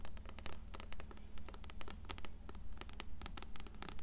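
Long fingernails scratch and tap the cover and spine of an upright, closed blue paperback copy of *Coraline*. Quick, fairly regular bright clicks and scratchy strokes swell in rhythmic bursts about twice a second over a steady low hum.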